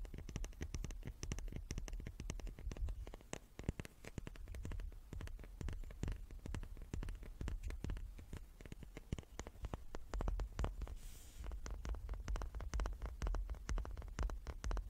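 A small wooden cube is tapped over and over in a quick, uneven patter of short, dry knocks. Each tap is a soft low thud with a brief clicky edge and almost no ring, at a quiet level throughout.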